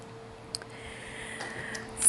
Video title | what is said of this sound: ADDING ACRYLIC TO MY NAIL 💅🏿... #COCODELUXE | and my nail is dry the acrylic is dry and you can tell it's dry when you can hear the clicking when you're tapping on it